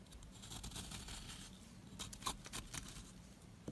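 A wooden-handled metal loop tool scrapes the crumbly surface of a small, solid, square white soap block held in the hand. It makes quiet, irregular, crumbly scraping and patter with soft bright crinkles. A few sharper scrapes stand out near the end.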